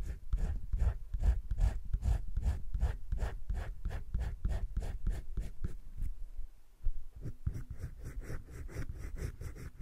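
A teal wooden colored pencil held in the fingertips scratches and shades across a flat sheet of a spiral-bound drawing-paper sketchbook lying on a table. Quick back-and-forth strokes give a steady rhythmic scratching with low, dull rubbing. The strokes pause briefly near the middle, then resume at a similar pace.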